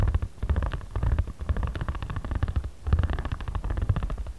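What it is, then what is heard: Paper pad rolled with a ridged roller. A ridged spiral jade roller is rolled across the surface of a flat origami paper pad held in one hand. It makes a dense, low, rumbling stream of rapid tiny ridged clicks that pulses in waves as the roller moves back and forth.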